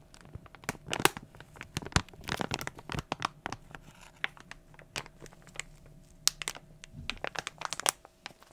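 A small glossy plastic foil toy blind bag is held close and crinkled with fingers. Dense, bright crackling and sharp crinkly snaps burst out in quick, irregular clusters over a quiet background, each one dying away almost instantly.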